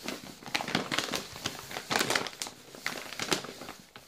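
A full yellow plastic Balocco biscuit bag is held in both hands while the fingers crinkle and squeeze it. Bright, crackly plastic crinkles come in irregular bursts, louder in some places and softer in others, with almost no low end. The crinkling keeps going for about four seconds, with no voice.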